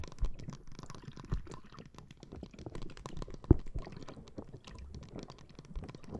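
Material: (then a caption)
Plastic, gel. A clear plastic bag full of green gel water beads resting on the microphone is scratched and tapped with long painted nails. The result is a steady stream of soft, squishy crackles and muffled low taps, with one sharper, louder tap partway through.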